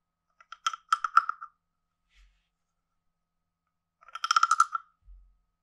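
A wooden stick taps and runs along a hand-sized, carved, hollow wooden frog guiro with a ridged back. Two quick bursts of dry, woody clicks carry a hollow, pitched tone with bright edges, separated by a pause. Each click dies almost instantly, with a faint low bump after each burst.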